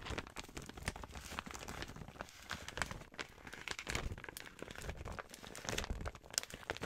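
An empty, flat pink printed plastic gift bag is crinkled in the hands and scratched and rubbed with long white nails. The result is a continuous stretch of dense, bright crackling and rustling with sharp little snaps, plus some low rubbing noise underneath.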